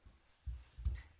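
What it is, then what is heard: Baked-through bread loaf, hollow. A baked bread loaf, turned over with two cloths, is knocked on its underside, giving three dull, low thumps with a hollow echo. The hollow sound shows the loaf is baked through.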